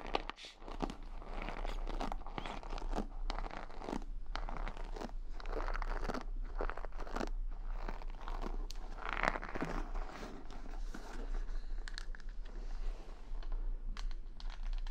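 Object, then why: Wooden paddle hairbrush with wooden pin bristles. Fingertips and a palm press and rub over the wooden pin bristles of a wooden paddle hair brush, which is then brought close to the mic. The result is a steady run of dense, crunchy crackling and scratching with a bright edge. A constant low hum sits underneath throughout.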